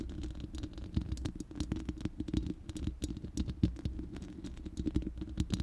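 Long manicured nails of both hands scratch and tap the uncovered, hollow, round steel mesh grille of a large studio microphone. The result is a dense, rapid patter of short clicks and scratches over a low, boomy body around 109 Hz, with bright ticks on the sharper taps. Each hit dies away almost instantly.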